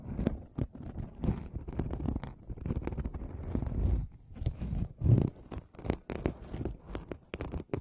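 A folded aluminum mesh scrubbing sponge, held beside the microphone, is scratched with the fingernails of one hand. The result is a steady, uneven stream of close, crinkly scratching and rustling that is mostly low and muffled, with quick strokes bunching and swelling in loudness throughout.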